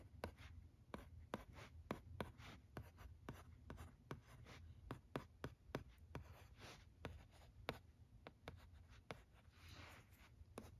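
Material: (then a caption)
Plastic. A red plastic stylus writes letters on the smooth screen of a thin, teal plastic-framed LCD writing tablet resting on carpet. Quick scratching strokes and sharp taps come in a steady run, each fading almost at once. Between them sits a low, steady hum.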